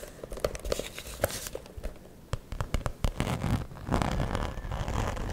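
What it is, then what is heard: Glitter fabric zip pouch. A small, soft-sided fuchsia glitter-coated cosmetic pouch with a gold zipper and black lining is scratched and tapped by long nails across its glittery surface while fingers work inside the hollow opening. Many sharp, brief clicks and crisp taps sit over a dry, crinkly scratching texture. The rustling grows denser and more continuous toward the end.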